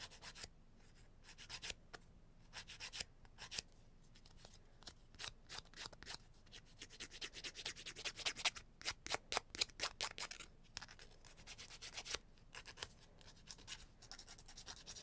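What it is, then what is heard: Emery board filing fingernails. A thin, flat, solid emery board, about 18 cm long with abrasive grit on a cardboard or wood core, is held in one hand and rubbed back and forth across the fingernails of the other hand, with pyjama fabric in the background. Quiet, bright, dry scratching strokes come in rapid bursts separated by short pauses, with little low-end sound and no ringing after each stroke.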